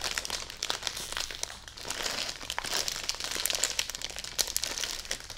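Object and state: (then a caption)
Plastic-wrapped bedding package. A full plastic-wrapped bedding package is hugged and held up while long nails tap, press and crinkle its plastic wrap. The result is a steady, dense crinkling with many sharp, bright ticks and crackles, mostly high in tone with very little low end.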